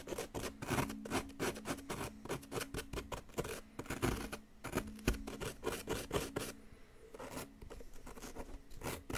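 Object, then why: Plaster block scraped with a wooden stick. A wooden stick scrapes and picks at a solid yellow plaster excavation block, working into the chalky plaster. Rapid, dry scratching strokes with short gritty bursts follow one another steadily, easing briefly near the end before picking up again.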